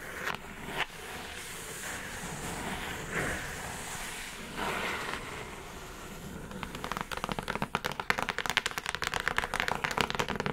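Long nails tap the sides and top edge of a hollow brown kraft cardboard mailer box. A few soft knocks over a quiet, scratchy rustle give way after about six seconds to a rapid run of dry, bright, hollow taps that stop instantly with no ring.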